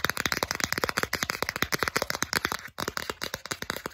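Long acrylic nails quickly tap and scratch the solid back of a small, flat plastic Starbucks gift card. About two dozen sharp, dry plastic clicks come in a rapid, uneven run, each bright and dying out almost at once. There is a brief gap near the end before the tapping resumes.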